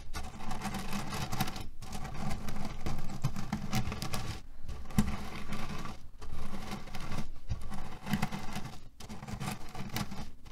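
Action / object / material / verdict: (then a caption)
shake / cotton cushion filled with cherry pits / cherry pits / none. Hands press, knead and rub a small square cotton cushion filled with cherry pits, shifting the pits inside. A dense, steady crunching rattle comes in bursts, heavy in the low end, broken by brief silent pauses.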